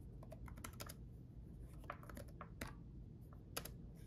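Both hands type with their fingertips on a red-backlit laptop keyboard with plastic chiclet keys. The result is quiet, irregular clicking and tapping with short, bright key strikes over a steady low background rumble.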